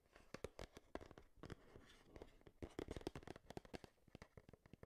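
Long nails tap quickly on a hand-sized, hollow, printed cardboard Game Boy retail box held beside the microphone. About 26 quick, dry, clicky taps come in an uneven, rapid rhythm, each giving a short hollow knock with a slight low body and almost no ring.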